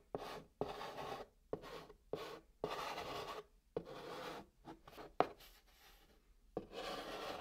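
A white chalk stick held in the fingers writes text on the flat top of a brown cardboard box. Ten dry, raspy scratch strokes, with short pauses between them, carry a midrange body and a bright hiss. Each stroke starts with a soft click, and the last one runs longest.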